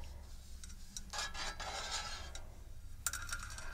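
Long red nails and fingertips tap and scratch the base and rim of a large, round, dark non-stick metal tart tin with fluted sides, empty and resting on a table. Bright, scratchy rasps and quick light taps die away almost at once, over a steady low hum. A sharper cluster of ticks comes near the end.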